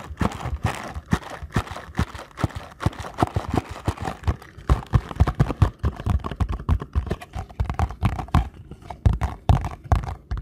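Fingertips tap rapidly on the faces of a small paperboard ankle support box held up close. The result is a steady stream of short, dull, low thuds with almost no high or bright content, each tap dying away almost instantly.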